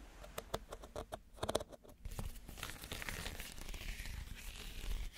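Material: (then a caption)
Reed. A small, empty woven reed basket is held upside down while fingernails scratch across its woven surface. Sharp, dry crackling clicks come first, then give way to a steady, bright, rasping scratch that runs to the end.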